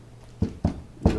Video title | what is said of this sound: Install of dynamat on doors 82-92 Firebirds and Camaros | now I can knock on it, it sounds solid. Before it was a lot more rattly.